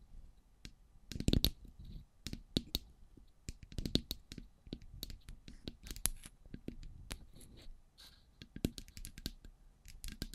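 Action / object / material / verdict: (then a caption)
tap / metal microphone body / metal / none. Long grey pointed nails tap and scratch the sides of two identical silver metal cylindrical microphones. It makes a quiet, irregular run of sharp clicks and dry taps with short scratchy rasps between them, each tap giving a low thump with a bright edge that dies away almost at once.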